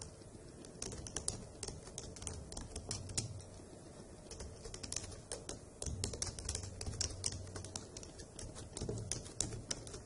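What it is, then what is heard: Plastic laptop keyboard. Long acrylic nails and fingertips tap quickly across the hollow keycaps of a dark grey plastic laptop keyboard, making a steady run of sharp, bright clicks over a low, soft rumble. The taps are short and dry, coming in uneven bursts of typing throughout.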